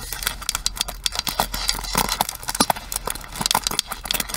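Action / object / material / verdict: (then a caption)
tap / plastic paddle hairbrush / plastic / none. Long nails tap and scratch the plastic edge and pins of a pink plastic paddle hairbrush held sideways. Quick, dry, bright clicks and ticks come in an uneven patter over a scratchy, hissy texture, with a faint steady low hum underneath. Each tap dies away almost instantly.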